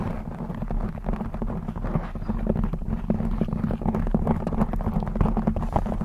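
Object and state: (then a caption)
Knit fabric microphone cover, scratched and tapped. Long blue acrylic nails scratch and tap a black textured knit fabric cover over a rounded microphone head. The result is a steady, dense stream of muffled, bass-heavy rustling and quick soft thumps, with little bright content and short, dry decays.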